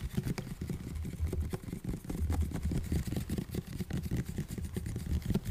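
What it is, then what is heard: Plastic spray bottle. A plastic body mist spray bottle filled with orange liquid, with a striped label and a pump cap, is held in both hands close to the mic and tapped quickly with fingertips and nails. The result is a steady stream of soft, dull, low-pitched taps with short decays, blending into a continuous muffled patter.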